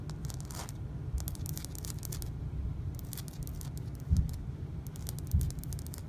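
Fingernails and fingertips tap and scrape across a solid, flat painted white interior wall with a seam line. Soft, dull low thumps run beneath clusters of bright, dry clicks and scratchy ticks, with two louder knocks standing out near the end.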